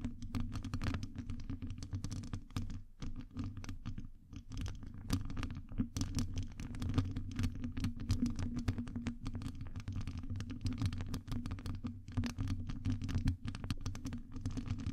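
Long nails on both hands scratch and tap a hollow metal wire-mesh microphone grille. The result is a dense, continuous stream of quick scratches and light taps with a heavy, boomy low-end rumble and faint crisp clicks on top.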